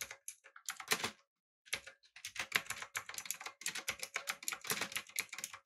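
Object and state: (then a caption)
Mechanical keyboard with plastic keycaps. Fingertips type on a backlit, typewriter-style mechanical keyboard with round plastic keycaps. The result is a rapid run of bright, dry clicks with little low end and almost no ring, broken by a short pause near the start before the typing picks up again.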